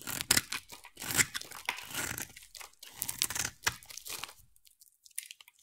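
A solid, hand-sized oval teal bar of soap is held in one hand and scraped with a utility knife blade, shaving off curls. The result is a series of crisp, bright, crunchy scraping strokes with sharp crackling edges and little low end. The scraping fades into a few faint, sparse ticks near the end.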